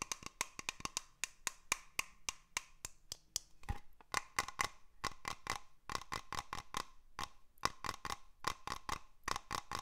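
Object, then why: Small glass terrarium dome. A small hollow glass cloche over a moss terrarium is held up close and tapped with fingernails and fingertips. About forty sharp, bright taps come in quick, uneven runs with short pauses, each a crisp click with a faint glassy ring that dies almost at once.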